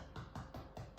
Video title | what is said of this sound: All about sourdough and how to control the proving time of your dough, plus new recipes! | Nice and hollow sounding. Yeah, it sounds nice and hollow.